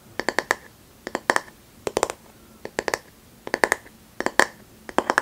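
A flat, light bamboo paddle hairbrush is held upright by its handle while long manicured nails tap and scratch its solid back face. The result is crisp, dry clicks centered around 1.7 kHz with bright edges, arriving in quick clusters of three or four taps. Each tap dies away almost instantly, leaving a quiet gap before the next cluster.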